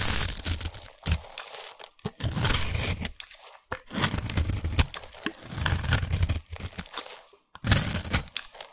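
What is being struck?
Bar of soap.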